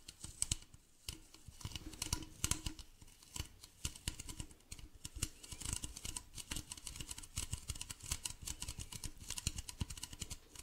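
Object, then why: Plastic bottle. A hollow, medium white plastic bottle with a blue cap is tapped and scratched with fingernails on its base and side. Rapid, dry clicks and bright scratchy ticks sit over low, hollow thumps, each dying away almost at once. The taps come in quick irregular bursts throughout.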